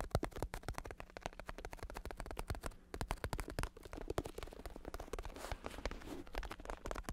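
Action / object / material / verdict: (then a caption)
tap / vinyl-covered plastic bicycle saddle / vinyl / none. Fingertips rapidly tap and scratch the vinyl cover of a black bicycle saddle with red trim, a vinyl cover over a plastic base, while it is held up. Dense, dull, short taps with low thumpy body mix with scratchy crackling. A faint steady low hum runs underneath throughout.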